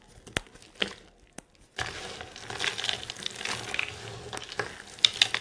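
Hands crush and squeeze a pile of dry green soap flakes, then push them into a mound. A few sharp, isolated crackles give way after about two seconds to a dense, bright crinkling and crunching that keeps going, with louder snaps near the end.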